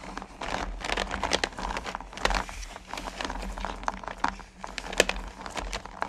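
Hands with long nails rub and stir small, solid mellowcreme candy corn pumpkins in a purple plastic bucket. The candies shift and clatter in a steady, dense run of crisp rattling, clicking and crinkly scraping, with a few sharper, brighter clicks over a faint low hum.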